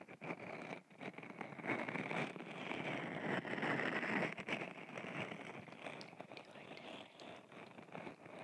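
A solid purple owl stress ball, gel beads held in a mesh net, is squeezed repeatedly with the fingers close to the right ear of a microphone. It gives a steady run of crackly, wet squishing with a bright edge near 1.9 kHz, swelling louder midway and easing off toward the end.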